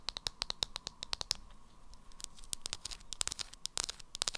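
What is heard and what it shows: Long acrylic nails tap and scratch the body and black lid of a small beige plastic jar of Revolution 'Banana' loose powder held in the hands. The result is a quick series of sharp, bright clicks that stop instantly, with a softer stretch of scratching in the middle before the tapping picks up again.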